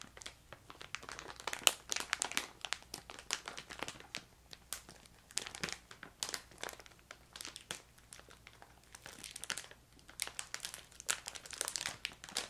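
A filled, yellow, crinkly plastic ginger candy bag is crinkled and pressed with fingertips and long nails. The result is quiet, bright crinkling and crackling in irregular bursts, each snap dying away almost instantly, with very little low end.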